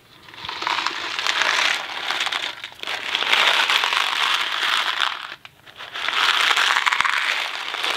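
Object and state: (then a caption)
Cardboard box full of dry macaroni. A Kraft macaroni and cheese cardboard box full of dry pasta is held in the fingers and shaken. It makes a dense, bright rattling hiss of pasta tumbling inside the cardboard. There are three sustained bursts of shaking, with a short quiet gap between the second and third.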